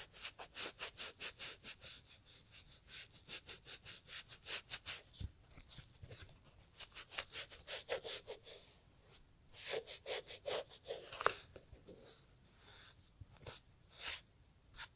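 A gloved hand rubs a green sponge along the upper and welt of a brown Italian leather loafer. About 25 quick, bright, hissing scrub strokes come in a steady rhythm at first, then turn more uneven, with a soft, quiet tone throughout.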